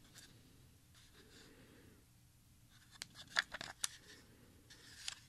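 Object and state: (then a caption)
Plastic audio cassette being handled. A small, hollow TDK compact audio cassette with a clear smoky plastic shell, tape reels inside and a handwritten label is held in both hands and turned while the fingertips rub and click against the shell and reels. Soft, faint rubbing fills the first three seconds, then five short, sharp, bright plastic clicks follow, with a light rub between them.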